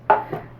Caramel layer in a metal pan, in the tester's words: the hardened crystallized caramel that we made and you can hear it it sounds like glass